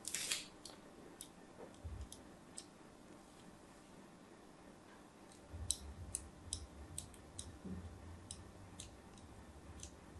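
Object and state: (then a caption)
Bar of soap being scored. A fine craft blade scores shallow diagonal lines into the surface of a solid white rectangular bar of soap held in a hand with long pink nails. Each stroke makes a short, crisp, bright scratch or click that dies away almost instantly. The scratches repeat over a soft, low background rumble.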